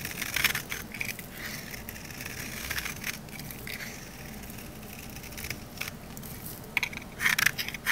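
A thin, solid green olive-oil soap bar held in the hand is scraped with a metal utility knife blade. It makes dry, crunchy, crackling scrapes with bright, high-pitched bursts, steady through the middle and sharper and louder toward the end.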